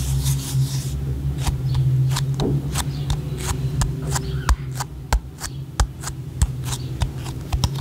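Long painted nails tap a small, hollow, white round plastic cream jar with a printed label, held in one hand and struck with the other. An irregular string of sharp, brief, bright clicks rises over a steady low hum, with soft rubbing and faint possible whispering in the background.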